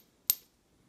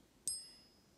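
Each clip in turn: First: non-gold metal piece with a short high ping. Second: genuine gold coin.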